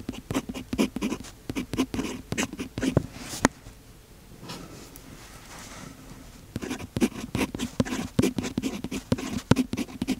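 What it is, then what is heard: Fountain pen writing on notebook paper. A fountain pen's metal nib scratches across the page of an open paper notebook during continuous writing, making quick, dry, papery strokes with short bright edges. The strokes run steadily for about three and a half seconds, then give way to a quieter stretch of soft low rustle before the scratchy writing resumes.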